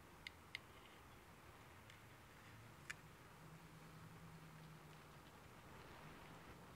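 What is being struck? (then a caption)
Small varnished wooden pen box. Fingertips tap the lid and edges of a small, closed, stained and varnished wooden pen box with a brass clasp, hollow and holding pens, resting on a wooden table and held at both ends. Three quiet, sharp, dry taps with a brief bright click around 2 kHz stand out over a soft, steady low background hiss and hum.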